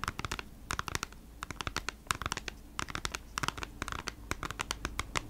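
Long nails scratch and tap on a plastic-sleeved cardboard package of beeswax wraps, working over its back and then its front. Quick, dry scratches and crisp, crinkly taps come in close bursts with bright edges and almost no ring, over a faint, steady low hum.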